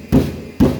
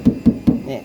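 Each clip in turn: First: thick steel car body panel. Second: thin sheet-steel car body panel.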